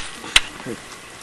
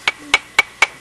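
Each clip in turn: First: unfossilized bone that sounds like wood. Second: fossilized bone with a hard, metallic ring.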